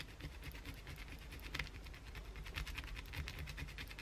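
Long blue acrylic nails aggressively scratch the surface of a solid white bar of soap held in the hand, shaving visible flakes off it. The clip is a quiet, rapid run of dry, crisp scratches with a bright rasp peaking around 2 kHz, over a steady low rumble.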